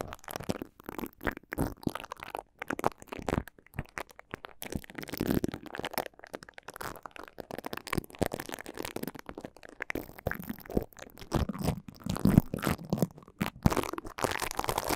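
Fingertips hold orange plastic spoolie brushes that scratch and rub over the slotted grilles of two small, hollow, cylindrical metal microphone capsules. A dense, continuous run of scratchy, crackling bristle strokes comes in quick irregular bursts with a muffled, low-heavy tone, getting somewhat louder and busier toward the end.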